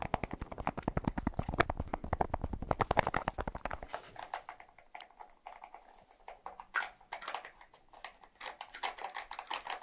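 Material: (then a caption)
Plastic. Fingernails tap rapidly on the light blue plastic cap of a small white plastic deodorant stick. For the first four seconds the taps come in a fast, dense run of dry clicks with a low thud underneath. They then turn sparser, lighter and more uneven, with short, bright clicks that stop at once.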